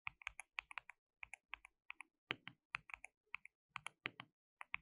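Both hands type continuously with their fingertips on a compact, hollow, white-cased mechanical keyboard with white and pink plastic keycaps and an RGB backlight. About 25 quick, bright plastic clacks come in uneven bursts, centered near 2.3 kHz. Each keypress stops almost instantly with no ring.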